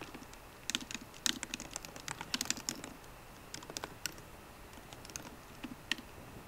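Fingertips with short painted nails on both hands type rapidly on the low-profile black plastic keyboard of a 13-inch MacBook Pro in a grey aluminium body, resting on a wooden desk. Quick, bright, clicky key taps come in uneven bursts with brief pauses, each tap short and dry against a faint low background hiss.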